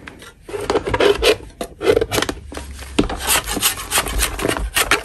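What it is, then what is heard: Natural chalk block being scraped. A solid natural chalk block is scraped with a metal spatula, with powder falling off. Short, dry rasping strokes overlap with one another, each with a bright gritty edge and a faint low hum under them.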